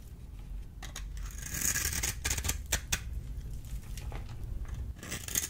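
A solid oval green bar of dry soap is held in the hand and scraped and cut with a small metal blade, its shavings falling onto a pile. Bright, crisp scraping strokes and sharp cutting clicks sound over a low rumble, with short dry transients and little ring.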